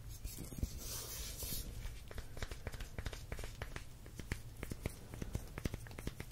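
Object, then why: Plastic squeeze bottle with paper label. A gloved fingertip taps and scratches the paper label and plastic body of a tall, full plastic squeeze bottle of raw honey with a green plastic cap, held in one hand, and the cap is handled at the end. A bright, scratchy rustle opens the clip, then gives way to many quick, dry taps and soft scrapes over a steady low hum.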